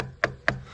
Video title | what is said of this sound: Essai Mondraker Foxy 29 ALUMINIUM | ça fait plus tin tin quand on tape dessus